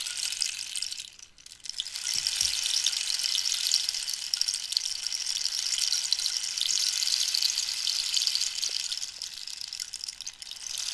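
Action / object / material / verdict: shake / dried cactus rainstick with pebble filling / wood / none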